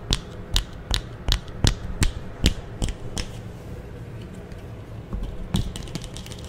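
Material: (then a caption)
Plastic. A thin, solid green plastic clothes hanger about 40 cm wide is held in the hands while fingers flick and scratch its hook and bar. A series of sharp, bright clicks comes at a fairly steady pace, then fades to quieter scratching in the middle before more clicks return. The result is a clicky, mechanical ticking over a low, soft rustle.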